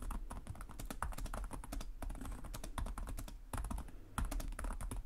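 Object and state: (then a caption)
Plastic laptop keyboard being typed on. Both hands type rapidly with short-nailed fingertips on the plastic chiclet keys of a black laptop resting on a desk. A dense stream of quick, crisp key taps with soft low thumps continues almost without pause, with a brief lull before a louder burst near the end.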